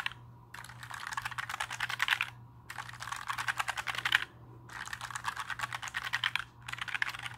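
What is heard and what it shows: Fingertips tap and press the plastic keycaps of a compact black mechanical keyboard held at an angle, making quick, bright clicky clatter. The typing comes in four bursts separated by short pauses, over a faint steady low hum.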